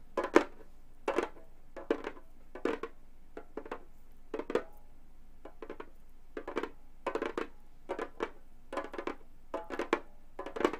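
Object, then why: Synthetic-head frame drum. Gold metal claw nails tap rapidly on a hollow frame drum with a synthetic head. Quick clusters of light taps give short, dry thuds with a mid-low tone and bright clicky edges, each dying away almost at once. Quiet gaps separate the bursts.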